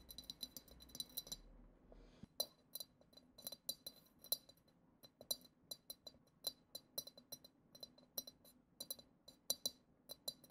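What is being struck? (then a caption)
Glass goblet. A single long acrylic nail taps the side of a clear, hollow glass goblet decorated with silver glitter swirls. Quiet, rapid, bright clinks come in quick runs with a brief pause near the start, and each tap dies away almost instantly.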